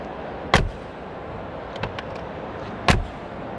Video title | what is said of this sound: GEREBEK BCA EXPOVERSARY 2025, EH KETEMU MERCY G 500 | suara Tutup pintunya crik ada crik tapi ada bassnya juga khas sekali ini yang sangat sulit di tiru